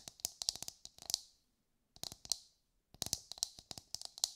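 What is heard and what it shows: Long light-grey nails tap and scratch a brown, husked whole coconut with a hard fibrous shell, held in both hands. Three quick bursts of crisp, bright clicks are separated by short silences, with almost no low end. Each tap dies away at once.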